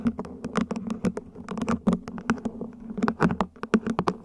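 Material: Plastic.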